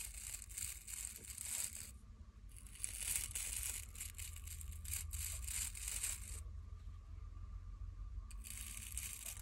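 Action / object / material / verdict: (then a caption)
scrape / wooden nail brush with natural bristles / natural bristle / none. Long glittery nails scratch across the dense natural bristles of a small wooden nail brush, making bright, crackly bristle scratching in rapid strokes. The scratching comes in three bursts separated by short pauses, over a steady low rumble.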